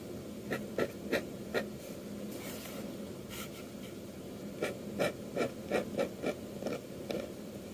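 A metal dip-pen nib scratches inking lines across the face of a flat sheet of white manga manuscript paper. Short, dry scratchy strokes come in quick bursts, then a quieter pause, then another run of strokes, over a low steady background hiss.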